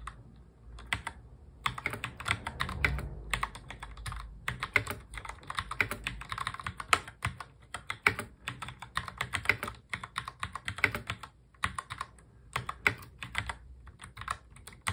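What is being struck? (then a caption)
Plastic mechanical keyboard. Both hands type fast on a full-size black mechanical keyboard with plastic keycaps, fingertips tapping the keys. The result is a rapid stream of short, sharp, bright clacks in quick bursts, broken by brief pauses, with a soft low thud beneath some strokes.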